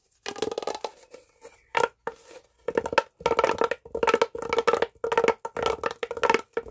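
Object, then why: Corrugated plastic pop tube. A hollow red corrugated plastic pop tube is stretched and bent into a curve with both hands and fingertips. It gives repeated bursts of dense, crackly popping and clicking as the ridges snap open and shut, with a hollow, mid-pitched ring around 550 Hz running through each burst and short silences in between.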